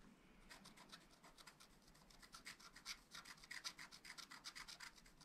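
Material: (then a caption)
Coated paper. A pointed wooden stylus scratches short strokes into the black coating of a flat scratch-art paper sheet in a spiral pad while the other hand steadies the pad. A quick, uneven series of dry, bright scratches and rasps builds over a faint background hiss. The strokes grow louder toward the end.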